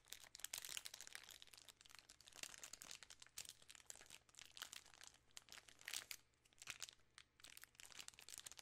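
A full 3 Musketeers bar in a shiny plastic film wrapper is crinkled with fingertips and long nails. Dense, bright, crackly crinkles and sharp snaps come in uneven bursts over a faint low steady hum.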